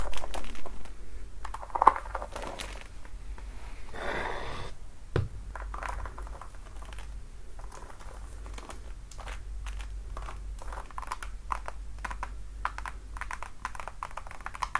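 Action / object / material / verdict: tap / patent leather platform high heel / patent leather / none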